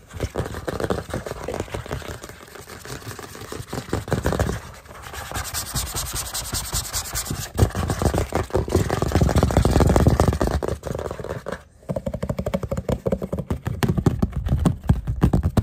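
A flat, solid white plastic cutting board of about medium size, with a hanging hole and rounded corners, is held up and tapped and scratched on its flat face with the fingertips and short nails of both hands. The result is a fast, dense stream of dull, low-heavy taps mixed with rough scratching that swells and eases, briefly dropping out just before the 12-second mark before resuming.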